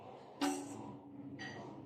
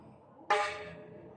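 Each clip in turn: First: aluminum bicycle spokes, deeper tone. Second: stainless steel bicycle spokes, high ringing tone.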